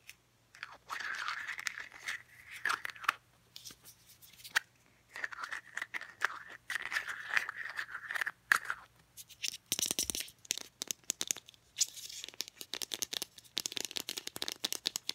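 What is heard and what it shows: Long painted nails tap and scratch a small Degree deodorant stick's translucent teal hard plastic case while its cap is handled. Bursts of dry scratching with a steady hiss around 2 kHz alternate with quick, bright clicks and rattles of the cap.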